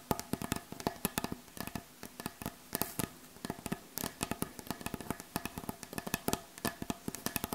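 Long acrylic nail tips on both hands tap and lightly rub the surface of a solid, light wooden butcher block board. The result is a rapid, uneven stream of short, dry, woody clicks with almost no ring, and a soft scratchy rustle between the taps.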